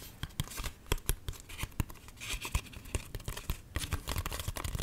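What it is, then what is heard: Paper greeting card scratched. A small, flat card-stock greeting card printed with pink balloons is held in both hands and scratched by fingernails across its surface. A rapid run of dry, scratchy strokes and sharp clicks comes with soft low thumps and bright rasping noise, each sound cutting off almost at once.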